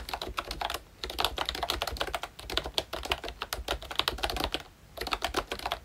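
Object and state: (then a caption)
Plastic membrane keyboard being typed on. A full-size ROYCHE Disney Mickey Mouse retro membrane keyboard with round plastic keycaps is typed on continuously with the fingertips of both hands. It produces rapid, bright plastic clicks and soft clacks with very short decay, briefly pausing around one second and near the five-second mark before resuming.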